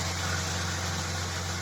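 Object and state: Nothing is struck.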